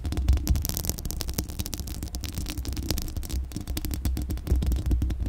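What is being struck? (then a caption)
Steel mesh grille of a condenser microphone. Long acrylic nails scratch the bare steel mesh grille of a large, hollow condenser microphone. The scratching produces a dense run of rapid, crackling scrapes over a deep, throbbing low rumble. Brief bright streaks cut through, and the sound stays close and steady with little ring.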